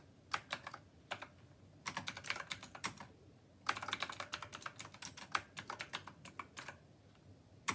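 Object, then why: Plastic mechanical keyboard with round keycaps. A black glossy plastic Rymek typewriter-style mechanical keyboard, full size with round copper-colored keycaps, sits on a white desk as both hands type continuously with their fingertips. Quick, bright, clacky keystrokes come in rapid bursts separated by short pauses, each click dying away almost instantly.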